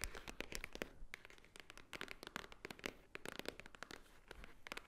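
Long nails tap and scratch a flat rectangular white cardboard Swarovski jewelry box held upright, likely hollow. Quick, crisp, bright taps with almost no ring mix with dry scratching across the quiet surface, in an irregular rapid pattern.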